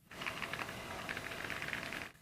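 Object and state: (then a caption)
Phone camera module rattle, normal. A Vivo X200 Ultra smartphone is moved slightly, and its large camera module gives a continuous, light rattle for about two seconds, clustered around 1 to 3 kHz, as if something were loose inside. The sound is normal, not a fault; the manufacturer says it comes from the technology inside the module.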